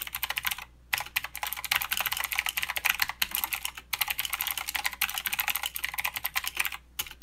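Fast two-handed fingertip typing on a mechanical keyboard with plastic keycaps and clicky blue switches. It makes a dense stream of sharp, bright clacks with very little low end. The rapid bursts break off in a few brief pauses.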